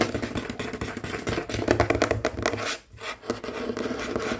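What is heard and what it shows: Fingertips and short nails on both hands, with rings on the fingers, rapidly tap and scratch a large, solid, dark wooden tabletop. The result is a dense, continuous patter of short, dry knocks mixed with scratchy scraping, centered in the mid range with some brighter edges. The sound briefly drops out just before the three-second mark, then resumes at a steady pace.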